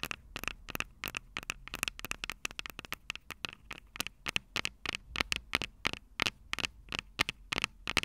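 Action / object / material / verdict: tap / small metal microphone capsules on a plastic recorder / metal / none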